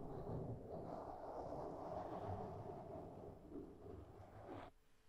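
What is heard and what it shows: Long fingernails of one hand scratch and tap a black foam windscreen on a microphone, making a steady, close, muffled rustling with low thumps. The scratching stops abruptly near the end, leaving quiet hiss.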